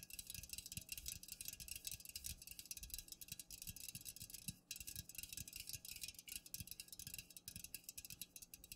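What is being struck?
Aluminum drink can.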